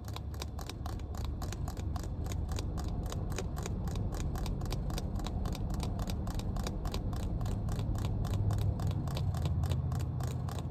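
Long red nails tap and scratch the white plastic cap of a small, clear plastic water bottle full of water, inside a car. Quick, steady clicky taps with bright, short ticks ride over a constant low rumble that fills the background throughout.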